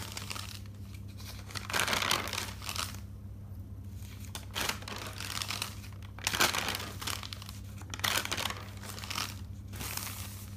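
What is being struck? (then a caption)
Paper notebook pages. Fingertips with dark nails lift and flip the pages of an open thick paper notebook, making bright, crisp rustling and crinkling bursts that come and go over a steady low hum.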